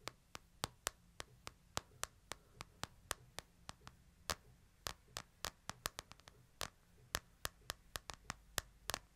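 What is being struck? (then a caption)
Smartphone with glass and metal or plastic body. Fingertips tap the back and side of a hand-sized, solid smartphone with a glass screen and a metal/plastic body, held upright in one hand. About 33 short, dry, bright clicks come at an uneven pace, each dying away almost instantly. A faint low hum sits steadily underneath.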